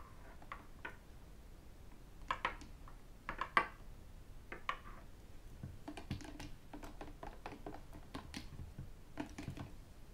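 Fingertips and ten metal rings tap and scratch the sides of a hollow white plastic sports bottle with a black cap, standing on a desk and then tilted. Soft, irregular clicks and taps come with a few brighter, sharper knocks, and each decays almost instantly over a low, quiet background.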